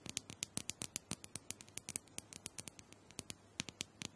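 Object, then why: Small round plastic dome massager. Long acrylic nails rapidly tap and scratch the plastic dome top of a small, round, hollow plastic massager. About thirty quiet, sharp, bright clicks come in an uneven patter, each dying away almost instantly with little low end.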